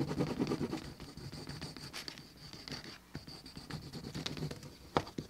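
A flat, thin, solid piece of tan veg-tanned cowhide leather for a wallet lies on a cutting mat while its rough flesh side is rubbed back and forth with a wooden slicker held in the fingertips. Soft, dry scratching strokes rise and fall in a steady rhythm, with a faint steady high tone underneath and a sharper scrape near the end.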